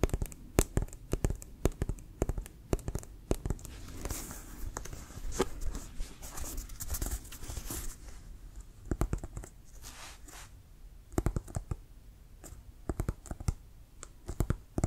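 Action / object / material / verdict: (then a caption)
tap / leather-covered American football / leather / none. Fingernails tap and click on the leather surface and white laces of a brown Wilson American football, which is hollow and inflated. The result is a steady run of short, sharp taps with a dull, hollow low thump. A stretch of soft scratching and brushing runs through the middle, with brighter clicks in bursts.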